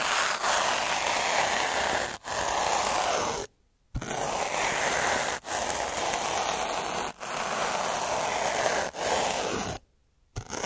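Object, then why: Metal-needle roller on textured paper. A black derma roller with metal needles is rolled slowly over a flat sheet of textured white paper while a hand rests on the paper, and the needles scratch the paper. The result is a steady, dense scratchy rasp, mostly midrange to bright with almost no low end, in long passes separated by brief dips and two short silences.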